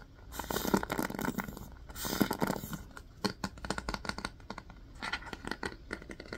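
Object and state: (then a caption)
Hairbrush bristles scratched and flicked. Fingertips scratch and flick the plastic pin bristles of a yellow wooden paddle hairbrush with a black cushion. Two dense, raspy scratching bursts give way to a quick run of sharp, dry clicks and flicks that die away almost instantly.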